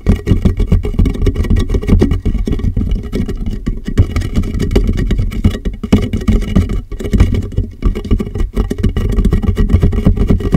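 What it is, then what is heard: Plastic water jug tapped. Fingertips tap rapidly on the top and sides of a large, empty, clear plastic water jug that sits upside down over a microphone. The taps come as a dense, continuous patter of deep, hollow, boomy thumps with almost no high end, and each one dies away almost at once.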